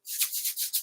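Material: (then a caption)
Salt. A container of salt, used as a shaker, is shaken back and forth. It makes a very soft, bright, hissy rattle of grains in repeated swishing pulses with no low end.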